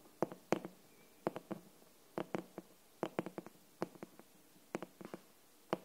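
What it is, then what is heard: Hardcover book cover. A glossy green, paper-covered hardcover copy of "Anne of Green Gables" is held upright while its flat cover is tapped and scratched with long nails and fingertips. About 22 short, dry, mid-pitched taps come in quick clusters of two to four. Each dies away almost at once into a quiet background.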